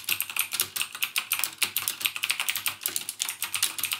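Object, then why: Plastic mechanical keyboard. Fingertips type continuously on a backlit mechanical keyboard with plastic keycaps and Cherry MX Blue switches, producing about 28 rapid, bright clicks in four seconds. Each keystroke is a sharp, crisp click with almost no low end that dies away almost instantly, forming a steady clattering rhythm.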